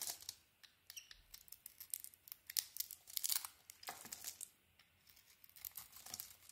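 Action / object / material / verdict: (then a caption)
scrape / bar of soap shaved with a knife / soap / none. A knife blade shaves and scrapes a solid dark green bar of soap with a light green core. The result is a quiet run of crisp, bright scraping strokes with short crumbly crackles, almost no low end, and brief pauses between passes.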